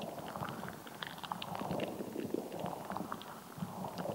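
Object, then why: Rubber squishy ball filled with water gel beads. A palm-sized, solid, translucent rubber squishy ball packed with red and green water gel beads is squeezed and scratched with long nails and fingertips. Soft, wet squelching and crackly scratching mix with brief tapping clicks over a steady low-mid rumble. The clip is quiet and continuous throughout.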